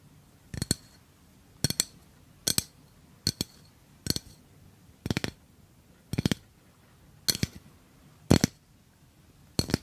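A tall, hollow yellow metal gas refill can with a red cap, held upright, is tapped with fingernails. It gives quick, clinking metallic taps that come in short bursts roughly once a second, each with a bright, high ring that dies away almost instantly over a quiet background.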